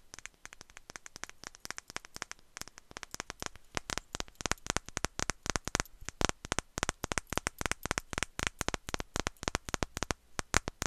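Long nails tap quickly and steadily on a small glass perfume bottle with a fluffy atomizer bulb, held in one hand. Each tap is a short, bright click that stops almost at once. The rapid taps fall at an uneven rhythm over a faint low hum.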